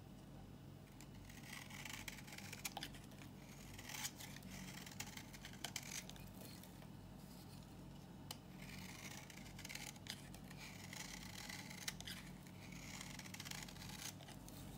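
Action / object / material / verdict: scrape / bar of soap shaved with a knife / soap / none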